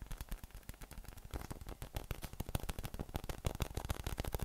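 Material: PVC.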